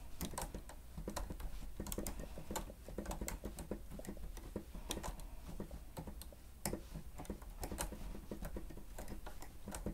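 Fingertips of both hands press and tap the keys of a grey plastic stenotype keyboard with a hollow housing while typing. The result is a quiet, steady patter of short, dry clicks and taps with a hollow, low-heavy thud and brief bright tick edges.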